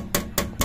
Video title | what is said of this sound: SUZUKI DA64 Automatic MINIVAN Turbo DIY - Oil Leak on K6A engine oil cooler | Iba ang tunog, matigas. Hindi siya rubber talaga. Kasi kung rubber, hindi yan tutunog ng ganon.